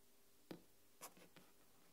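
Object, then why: Aluminium tablet back tapped with fingernails. An iPad turned over to its silver aluminium back with the Apple logo, where long nails tap and scratch the metal. Three quiet, short clicks with a scratchy, bright edge die away almost at once over a faint low hum.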